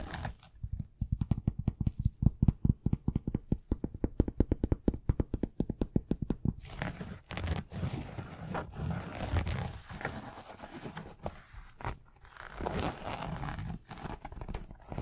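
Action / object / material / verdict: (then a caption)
scrape / knit fabric sneaker upper / knit fabric / none. Fingers scratch and tap the upper of a white knit fabric sneaker. For the first six seconds or so, a rapid run of short, dull taps and scrapes comes through, soft and heavy in the low end. Then it shifts to a steadier rough scratching texture that runs to the end of the clip.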